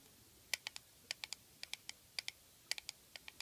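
Long fingernails tap and click on a small black hollow plastic eyeshadow compact resting on a table. A quick, irregular series of sharp, dry clicks sounds bright and high, each dying away almost instantly. Faint quiet fills the gaps between them.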